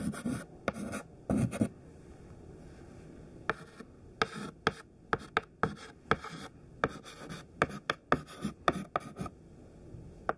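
A thin white classroom chalk stick, held in the fingertips, writes words on a large flat black chalkboard. Short bursts of dry scratching alternate with sharp, quick taps of the chalk against the board, separated by quiet pauses.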